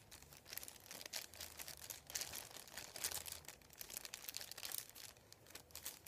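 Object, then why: Thin printed paper sheet. Fingertips and nails rub, tap and crinkle a thin, flat sheet of printed white paper lying on a wooden table. The result is a quiet, bright, steady stream of crackly crinkling and rustling, with soft taps and small louder swells throughout and almost nothing in the low range.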